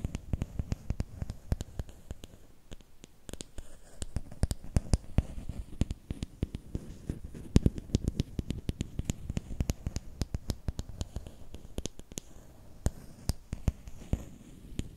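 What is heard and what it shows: Fingernails scratch and tap along a long, thin, solid bamboo or wooden stick held horizontally. Quick, dry clicks and scratchy rubs come in a dense, irregular patter, mostly low and soft-bodied with sharp bright ticks. Each one dies away almost instantly.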